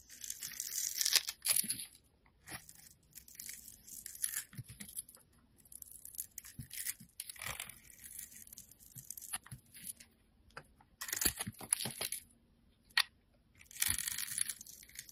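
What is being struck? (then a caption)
Soap bar. A solid blue bar of soap held in the hand has its edge shaved with a utility knife blade, and small chunks crumble off. Bursts of bright, dry scraping and crisp crumbling come and go over quiet gaps. Several sharp ticks of the blade stand out.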